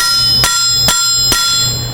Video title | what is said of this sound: How to Use an Anvil in Your Metalworking Shop - Kevin Caron | the flat part of the metal is right flat against the face of the anvil,